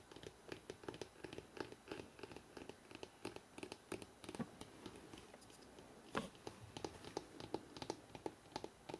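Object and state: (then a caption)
Hardcover book spine. Fingertips tap rapidly on the spine of a thick hardcover book held in the hands. The result is a quick, uneven stream of soft, dull knocks with short, dry decays and faint brushing sounds between them. The sound is quiet overall.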